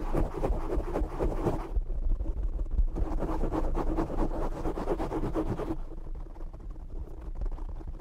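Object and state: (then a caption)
Foam microphone windscreen. Fingertips and short nails scratch and tap the black foam windscreen on a desk microphone. The result is a dense, rapid, irregular scratching with a heavy low rumble and bright, crackly bursts. It is loudest in two stretches, at the start and in the middle, and softer and duller in between and at the end.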